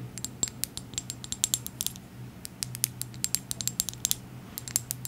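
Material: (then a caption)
Glass. Long acrylic nails tap quickly on a small dark glass serum bottle with a gold dropper and a white label. The result is a rapid, irregular series of sharp, bright clicks, each dying away almost instantly, over a faint steady low hum.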